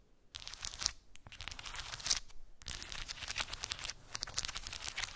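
Long acrylic nails tap and scratch across a cork board covered with round wooden balls, making dense, bright, crackly scratching in bursts separated by brief pauses. The sound is mostly high-pitched clicks and rasps with little low end.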